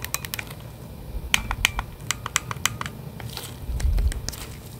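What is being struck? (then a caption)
Hand-held plastic game controller in a grip. Two gloved hands hold a hand-sized, hollow plastic Nintendo Switch controller in its grip while fingertips press and tap its buttons. The result is a quick, irregular series of sharp, bright plastic clicks and taps that die away instantly, over a low, soft handling rumble that swells briefly near the end.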